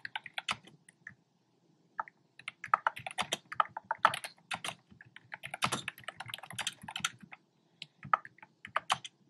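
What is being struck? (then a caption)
Plastic keyboard with round plastic keycaps. Fingertips with short nails type on a black plastic keyboard with hollow, round retro-style plastic keycaps in cream, pink and red. Quick, irregular runs of sharp, hollow clacks and taps, bright with little low end, each dying away almost at once. Brief pauses break the typing near the start and the end.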